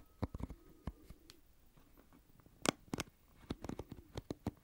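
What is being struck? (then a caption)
Plastic paddle hairbrush with pin bristles. Fingertips and a thumb scratch and flick the pin bristles of an oval plastic paddle hairbrush held sideways close to the microphone. Sharp, dry little clicks and ticks come in uneven clusters over a quiet, soft scratchy rustle. Each flick snaps off almost instantly, with no ring.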